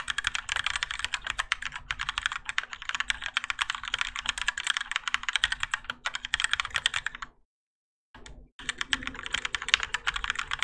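Fingertips of both hands type continuously on a Keychron K4 compact mechanical keyboard with Gateron Yellow switches, grey and orange ABS plastic keycaps, and a plastic and metal case, resting on a desk mat. A steady stream of fast, bright, clacky keystrokes with very short decay fills the clip, with a brief silence near the end before the typing resumes. A faint low hum sits underneath.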